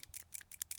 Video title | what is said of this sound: It's Driving Me CRAZY!! More Leaks! More Broken Parts!! | You hear it rattling. So, it's not stuck.